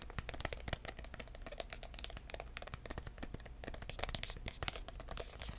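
Fingertips without nails tap rapidly and continuously on a small, hollow red cardboard box with dark corner pieces, held flat. The taps are soft, dry and short, with no ring, over a low steady hum.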